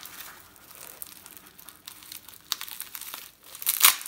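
A small, soft package wrapped in clear plastic bubble wrap, hollow with a Ross and Specter Spear necklace inside, is held in both hands and crumpled and crinkled with fingertips and short nails. Quiet, bright crackling and rustling ticks continue throughout, with sharper snaps along the way. A louder burst of crinkling comes near the end.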